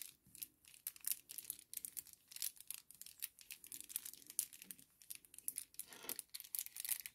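A small, flat kraft paper sachet lying on a table is folded and crinkled with the fingertips. It gives a quiet, continuous run of dry, bright crackles and rustles, with almost no low end and each crackle dying away at once.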